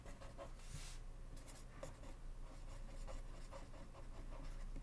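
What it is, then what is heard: Paper index card (pen writing). A blue ballpoint pen scratches across a small white paper index card that lies flat on a wooden desk, held down by fingertips. Quiet, irregular scratchy strokes come with a steady low rumble beneath, and one brighter, breathy swish appears near the start.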